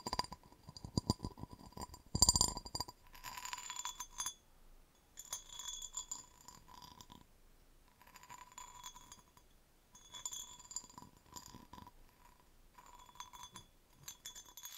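A cut-crystal vase is held upside down while fingernails tap and scratch its base. Quick, bright glassy clicks and clinks come in clusters, with softer scratchy rustling between them and short pauses. The taps end sharply with almost no ring.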